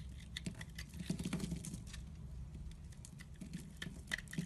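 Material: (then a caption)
Soap. A metal blade scrapes and chips flakes off the surface of a solid white soap bar held in the hand. It makes a soft, dry patter of quick scratchy cuts and small ticks, with a muffled low body and brief bright edges that stop at once.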